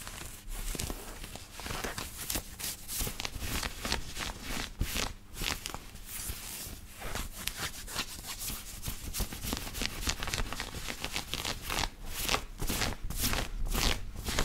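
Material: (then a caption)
Cotton. Fingertips and nails scratch the chest of a black knit cotton t-shirt worn on the body. The result is a steady run of bright, raspy fabric strokes, about two per second at an uneven pace, over a soft low rumble.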